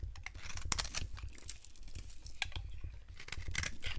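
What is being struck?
Bar of soap cut with a knife.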